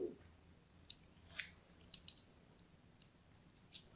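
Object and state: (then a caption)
Bar of soap being scored. A thin blade scores a crosshatch pattern into a solid purple-and-white striped bar of soap held in the hand. Six quiet, crisp, bright scraping clicks sound against near silence, each one short and dry with almost no ring.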